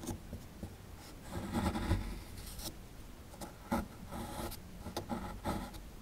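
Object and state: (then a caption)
Plaster fossil dig block being scraped. A small dark chisel tool lightly scrapes the surface of a small, solid plaster fossil dig block. Soft, gritty rasping strokes come in irregular bursts, with a quiet, close scratchy texture and a low thud underneath.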